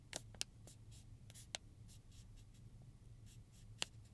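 Fingertips and nails slowly scratch and rub across a flat, medium-sized silver metallized plastic zip pouch holding plastic combs, lying on a table. Soft, bright crinkling swishes are punctuated by a few sharp, clicky ticks over a steady low hum near 100 Hz.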